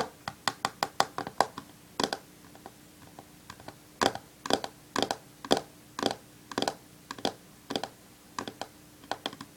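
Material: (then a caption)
Glass. Long fingernails rapidly tap the glass screen of a black smartphone lying flat on a wooden table while the other hand holds it. About thirty sharp, dry clicks come in quick bursts and irregular clusters, each dying away almost instantly, over a faint steady low hum.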